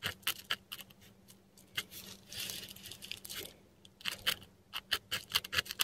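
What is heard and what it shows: A metal dip pen nib scratches across a flat sheet of textured Korean paper while drawing Chinese characters. Quiet, bright scratchy strokes and short crisp ticks come in uneven bursts, with a longer continuous scrape in the middle, over a faint steady low hum.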